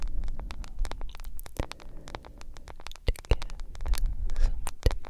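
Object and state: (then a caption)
Smartphone in plastic case, tapped and scratched. Long nails scratch and tap across a solid smartphone with a glass screen in a yellow plastic case. Quick, sharp, bright clicks and scratchy rasps come in an uneven, dense stream over a low rumbling bed, with a few louder taps standing out.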